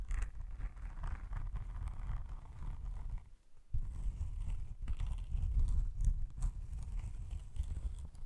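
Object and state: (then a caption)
Faux leather laptop sleeve being scratched. Fingernails scratch slowly along the textured surface of a padded, iridescent faux snakeskin laptop sleeve, held low and tilted, with a possible creak or zipper handling. The sound is a steady, low, dull rasping that briefly drops to near silence around the third second before resuming.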